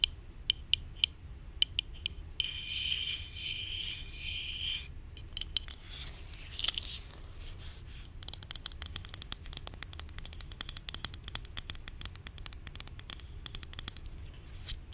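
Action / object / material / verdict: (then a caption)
scrape / plastic supplement bottle with paper label / plastic / none. Long nails rub and scratch along the paper label and body of a hollow white plastic supplement bottle held in hand. Sharp, bright ticks and scrapes come in quick bursts, with a steady, dense rasp in the early part. The sound stays thin and dry with almost no ring.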